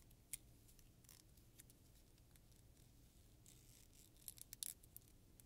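A medium-size solid black plastic pocket comb is held in both hands and bent while fingertips and long nails run and scratch across its teeth. The result is quiet, dry scratching with sharp, bright plastic ticks over a low background hum, with one tick early on and a denser cluster of clicks near the end.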